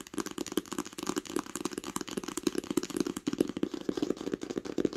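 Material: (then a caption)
Cloth, board. Long pink nails tap rapidly across the cover of a solid green cloth-covered hardcover book lying flat. The result is a dense, steady stream of dry, quick clicks and soft knocks with a muted midrange tone, little low end, and almost no ring after each tap.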